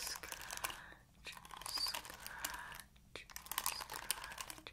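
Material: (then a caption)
Plastic. Long acrylic nails scratch across the ball-tipped bristles of an oval plastic paddle hairbrush. The result is dense, bright, crinkly scratching in three bursts separated by brief pauses, with quick, dry clicks and almost no low end.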